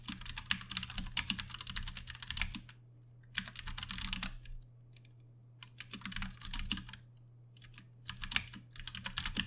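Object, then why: Plastic mechanical keyboard. Both hands tap with their fingertips on a Ducky One 2 Mini, a compact 60% RGB-backlit mechanical keyboard with plastic keycaps and Cherry MX Brown switches, resting on a desk. The result is four bursts of rapid, bright, clacky keystrokes separated by short pauses. A steady low hum runs underneath throughout.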